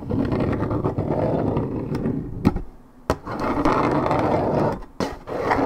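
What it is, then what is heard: Paperboard juice carton scratched. Long red nails scratch near the top edge of a hollow Minute Maid 1.75 L coated paperboard orange juice carton, fill unknown. The result is a steady, dense, rough scraping, full in the low and middle range with little high sound. It dips quiet twice, with a few sharp ticks in between, before the scratching resumes.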